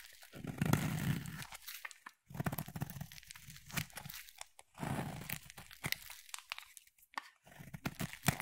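A utility knife blade cuts and scrapes a solid purple bar of soap. It makes crunchy, crumbly tearing strokes in uneven bursts, with brief silent gaps between passes of the blade.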